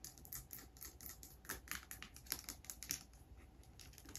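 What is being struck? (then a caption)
Small plastic sanitizer bottle tapped with acrylic nails. Long grey acrylic nails tap and scratch a small, clear plastic bottle of hand sanitizer that is hollow and partly filled with liquid, including its label, while it is held in the hand. A quiet, steady stream of short, crisp clicks and scratchy rustles is heard, bright and high-pitched with little low end. The taps die away almost instantly.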